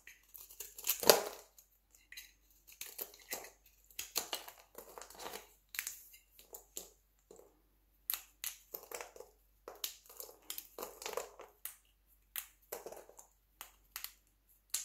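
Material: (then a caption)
Soap. A small solid chunk of teal dry soap is cut with a utility knife, then fingertips snap and crumble the brittle flakes in the pile. A loud crunch opens the clip, followed by a steady series of short, dry, bright crackles and crumbles that die away almost instantly.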